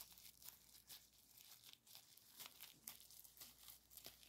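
Latex-gloved fingertips squeeze, crinkle and pop the bubbles of a small folded piece of clear plastic bubble wrap with green filling, then set it down on a towel. The sound is quiet, bright crinkling broken by sharp, short pops that die away almost instantly, with very little low end.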